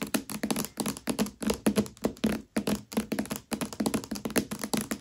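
Long nails on both hands tap and scratch across the glossy paper dust jacket of a Mistborn hardcover book lying flat and upside down on a velvet cloth. About thirty quick, dry taps come in uneven bursts, each with a hollow low thud and a short papery scratch that dies away almost at once.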